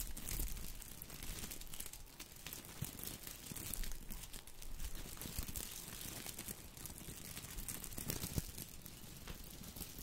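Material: Plastic.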